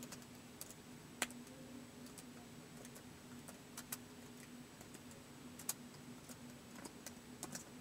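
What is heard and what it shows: Fingertips tap the white plastic keys of a laptop keyboard in slow typing, giving short, sharp, bright clicks spaced irregularly over a faint steady hum. One tap near the start stands out louder than the rest.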